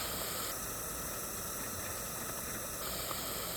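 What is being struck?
Nothing is struck.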